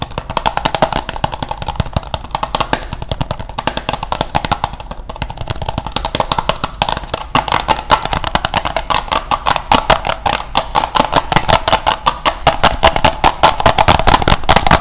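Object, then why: Small plastic cosmetic compact case. A small, flat, square, glossy brown plastic cosmetic compact, closed and hollow, is held in one hand and tapped quickly with the fingertips and nails. Dense, irregular streams of sharp, dry clicks with a hollow mid-range tone come in rapid bursts, the taps growing louder toward the end.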